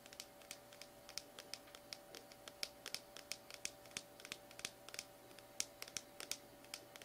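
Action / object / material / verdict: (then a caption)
tap / small plastic tub / plastic / none. Fingernails scratch and tap on the side of a small plastic slime tub, then move up near its purple plastic lid. Dozens of quick, bright clicks and scratchy ticks sound in an irregular patter, each dying away almost instantly. A faint steady hum sits underneath throughout.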